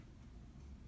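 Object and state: Nothing is struck.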